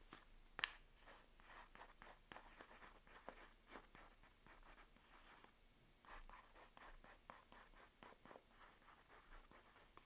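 A second sealed Palmolive soap bar in its paper wrapper is held in both hands while long nails scratch and tap the wrapped face of the solid bar. Soft, dry, papery scratching strokes come in quick bursts, with a sharp tap near the start. The sound is quiet and bright, with no ring after each touch.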